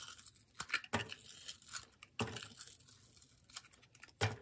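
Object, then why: Bar of soap. A solid yellow bar of soap with glittery edges is held in the hand and sliced into thin layers with a metal utility-knife blade, its curls piling up on a wooden table. Quick crisp scraping and shaving strokes come in short bursts with bright, crackly edges, the strongest cuts near the start, middle and end.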